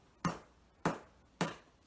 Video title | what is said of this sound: Conner Prairie - No-Knead Bread | when you flick it it should kind of have a hollow sound and feel to it